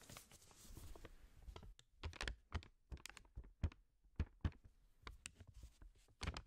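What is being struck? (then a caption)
Paper banknote. A single thin, flat, blue-grey paper banknote is folded, crinkled and rubbed between black-gloved fingers in front of a microphone. A continuous papery rustle gives way to a series of sharp, bright crackles and snaps separated by short silences. Soft, low handling thumps sit beneath them.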